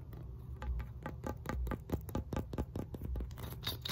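Fingernails scratch and tap the rollers and black foam handle of a red, segmented hard plastic muscle roller stick. A quick series of sharp, dry clicks and scrapes rings out over a steady low hum, each tap stopping almost at once.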